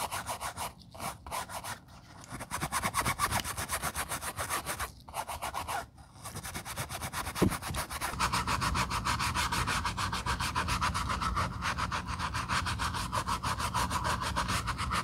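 An empty black quilted leather ballet flat rests on a towel while its upper is scrubbed with soap foam using a wooden horsehair brush. Quick, rhythmic scratchy brushing strokes stop and start with brief pauses in the first six seconds, then settle into steady, continuous scrubbing with a bright, foamy hiss.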